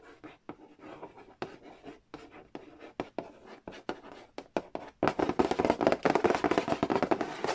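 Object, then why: Cardboard board game box. Fingernails scratch and trace across the glossy printed cardboard lid and edge of a large, flat, hollow Monopoly Nintendo edition board game box. Soft, papery strokes come in short, uneven bursts broken by quick ticks. After about five seconds they give way to louder, faster, denser scratching with a bright, dry texture.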